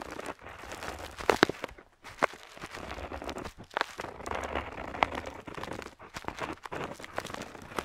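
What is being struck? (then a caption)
Paper map sheet and metal dip pen nib. An ornate metal dip pen nib, held in fingertips, scratches across a flat printed parchment-style paper map lying on a table while inking lines. The result is a steady, dry scratching texture broken by brief pauses and a few sharper scrapes.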